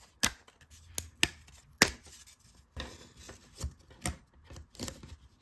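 Fingertips and nails press, rub and scratch over the surface and edge of a thin, round, laser-cut plywood dial disc about a hand span across with cut-out slots, held in both hands. Sharp, bright wooden taps and clicks stand out among softer, irregular scraping and rubbing, heard close up and quiet.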